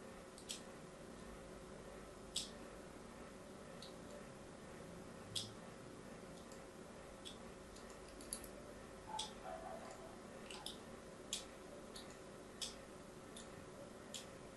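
A palm-sized solid bar of pink-and-white striped soap is held in one hand and scored with a thin metal needle or blade held in the other hand, which has long nails. Fine, quiet scratching and carving runs under a series of short, sharp, bright clicks scattered irregularly across the clip, each dying away almost at once over a faint steady hiss.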